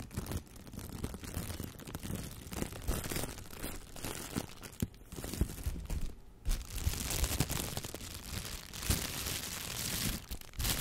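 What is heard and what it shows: A clear, thin plastic shower cap is bunched, crumpled and rubbed between the fingers near the microphone. It makes a steady stream of crinkling and rustling with soft low handling thumps and bright crackles, swelling in short bursts and briefly dipping quiet before picking up again.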